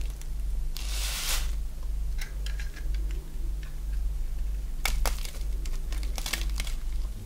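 A solid oval bar of dry white soap, held in the hand, is carved with a box-cutter blade, and curls fall onto the cloth. Crisp, bright scraping and crinkling cuts come in short bursts over a steady low hum.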